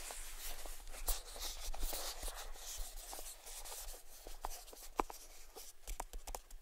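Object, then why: Small cardboard gift box. Fingertips tap and scratch the edges and lid of a small, hollow, closed grey cardboard gift box with a white ribbon bow, held in the palms. Quiet, dry taps and short crisp clicks sit over a steady bright, papery scratching hiss and a faint low rumble.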